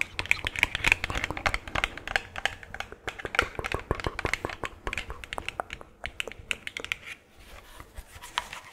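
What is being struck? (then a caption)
Small hollow plastic skull decoration. Long claw-tipped gloved nails tap rapidly on a small, hollow, cream-colored plastic skull decoration. The dozens of quick taps sound dry, bright and clicky, and each stops instantly with no ring. The tapping gets softer and sparser near the end.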